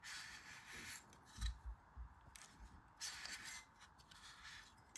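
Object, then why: Kinetic sand in a stainless steel scoop. A green kinetic sand ball is pressed into a stainless steel ice cream scoop held in the palm while the other hand squeezes the handle. Crumbly rubbing and gritty scraping of sand against the metal bowl come through as bright hiss over soft low thumps, rising and falling in short bursts.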